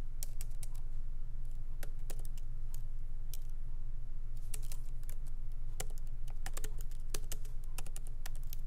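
Both hands tap continuously with their fingertips on the low-profile plastic keys of a MacBook Pro keyboard set in a solid aluminum body. Quick, bright clicks fall at an uneven pace over a steady low hum.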